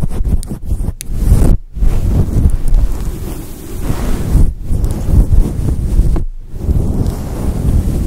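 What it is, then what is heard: Faux fur microphone windscreen being scratched. Long acrylic nails scratch a fluffy synthetic faux fur microphone windscreen close up, producing a dense, muffled rustling rumble concentrated in the low end. The scratching is continuous and textured, broken by a few brief pauses where the nails lift off the fur.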